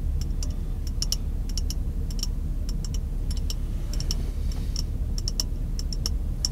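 A small, empty, clear glass jar held near the face inside a car is tapped aggressively with white-gloved fingertips. Rapid, irregular, bright ticking clicks ring briefly over a steady low rumble that fills the background.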